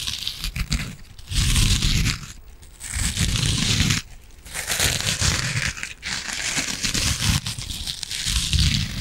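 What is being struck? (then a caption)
Foam kitchen sponge with scouring pad. A yellow and green foam kitchen sponge with a scouring pad, held close to the mic, is scratched and squeezed with long nails. Dense, scratchy crinkling and tearing-like rustle comes in long bursts with a bright hissy top and a full low rumble underneath. The bursts are separated by brief quieter pauses.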